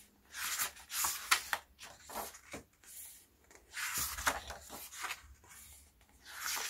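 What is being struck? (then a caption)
Paper pages of a hardcover photobook. Fingertips with short nails turn the paper pages of an open hardcover album photobook resting on a black cloth, one by one, and smooth them flat. Bright, dry rustling and brushing come in uneven bursts as each page is handled, with quieter soft rubbing in between.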